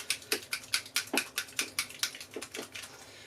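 A bottle of foundry wax is shaken, giving a rapid series of about sixteen sharp, bright rattling clicks that fade toward the end. The audible rattle shows the contents have loosened and mixed and are ready to use.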